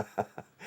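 A hand-painted, glazed ceramic Day of the Dead mask, which appears to be pottery and has holes for placing over a candle so it glows, is tapped. Three short, dull taps come at about 0.2-second intervals, with almost no ring. A brighter, rising hiss follows.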